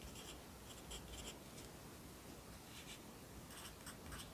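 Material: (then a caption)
Paper. A yellow wooden pencil held in the fingers writes across the page of an open lined paper notebook lying flat on a desk, its graphite scratching on the paper. Soft, bright scratchy strokes come in short bursts over a quiet, steady low rumble.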